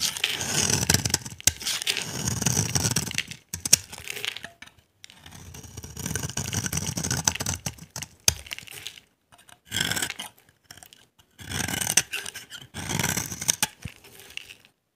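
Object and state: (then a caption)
Dry glycerin soap bar being scraped. A solid, translucent orange glycerin soap bar, dry and held in the hand, is scraped with a utility knife blade, shaving off dry yellow curls. Bursts of bright, crackly scraping and scratching come in several passes separated by short pauses, with occasional sharp snaps.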